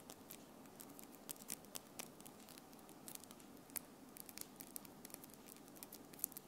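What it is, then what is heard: Acrylic nail tips. Long acrylic French-tip nails on both hands tap and click against each other close to the recorder. Quick, sharp, bright clicks come in an uneven, fast-and-slow patter over a soft, steady hiss.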